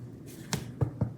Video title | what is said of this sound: weekly vlog 2 - irish gaming market spring???? (3/30/26 - 4/5/26) | it sounds hollow, so it might just not have a good crust